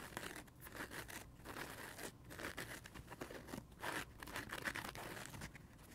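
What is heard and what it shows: A dry, yellow and blue printed foam kids' sponge made of solid foam is squeezed by both hands, then fingernails scratch its blue porous side. The result is a quiet, continuous crinkling, crunching scrape with bright, airy hiss and short rough bursts that rise and fall.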